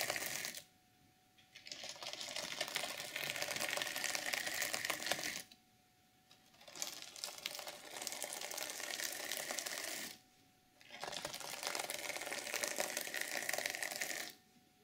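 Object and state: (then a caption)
Sequin fabric journal cover being scratched. Long nails and hands scratch and stroke the sequins on a flat, reversible sequin fabric journal cover. Three long passages of dense, bright, crackling scratching are heard, each separated by a brief near-silent pause.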